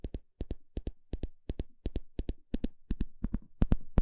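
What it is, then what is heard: Plastic fine-tooth comb. A small blue plastic comb with fine teeth, held in the hand, has its teeth scratched and flicked with a thin plastic stick. About 23 short, dry clicks come in quick pairs, each with a low thump and a bright crackling edge that dies away almost at once. The pairs grow louder and busier toward the end.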